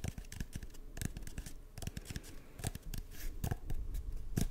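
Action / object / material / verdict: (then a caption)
scrape / cardboard tube / cardboard / none. An empty, hollow brown cardboard tube is held across the mic and tapped and scratched along its length with fingertips and short nails. The result is a quick, uneven run of soft, hollow low thumps mixed with dry, crisp scratches and clicks that die away almost instantly, heard close and quiet.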